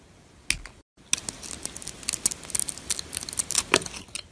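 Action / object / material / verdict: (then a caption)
scrape / glitter-coated bar of soap / soap / none. A flat metal blade scrapes the silver glitter coating off a solid, hand-sized bar of white soap, exposing the white soap underneath. After one scrape and a brief silence, a rapid run of short, dry, crackly scratches follows, bright and crisp with very little low end.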